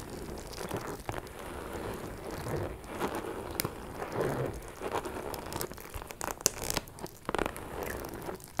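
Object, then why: Small faux leather shoulder bag. A small, closed, hollow pink metallic faux leather shoulder bag with a chain strap is tapped and scratched with long metallic nails. Continuous crinkly, rustling scratches run throughout, broken by short, sharp taps that die away instantly with no ring.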